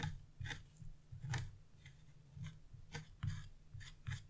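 A small wood-handled carving chisel, held in fingers with blue nails, scrapes the black coating off a flat scratch-art paper sheet lying on a wooden table. About nine short, dry scratching strokes come at an uneven pace, each a quick rasp with a low, soft thud underneath and a bright scratchy edge. They are quiet and die away almost at once.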